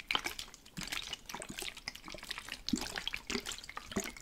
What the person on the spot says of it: Spray Bottle Liquid Shaking / Water Sloshing